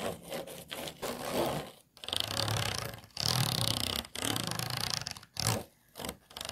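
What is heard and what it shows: Fingernails scratch an empty, hollow, disposable clear plastic food container with a textured base and ridged sides. The result is bursts of bright, raspy scraping with a fine ridged rattle, separated by brief pauses.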